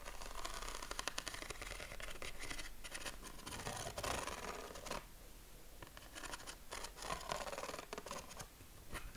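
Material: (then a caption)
Paper. The ribs of a yellow corrugated craft paper sheet, held against the chest, are scratched with short fingernails and fingertips. Dense, rapid, dry scratching rasps across the ridges with a bright, papery edge. It eases into a softer stretch about halfway through before the scratching picks up again.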